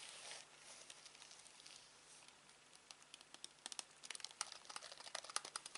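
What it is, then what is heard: Plastic TV remote control. Fingertips tap and press the buttons of a black plastic Samsung TV remote control held over fabric. Quiet, bright, short clicks and taps come faster and louder toward the end, over a faint hiss with a soft rustle at the start.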